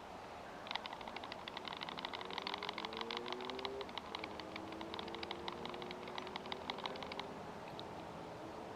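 A cleared steel Tisas 1911A1 US Army pistol is shaken by hand to test how loosely its slide fits the frame after more than 3,500 rounds over three years. From about 0.7 to 7 seconds, a quick run of light, bright metallic clicks rattles over a steady background hiss and a faint low whine that slowly rises in pitch. The result is a little bit of rattle, which is typical of military-style 1911s.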